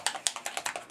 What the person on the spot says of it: when you shake it you're going to hear that there's a little ball in there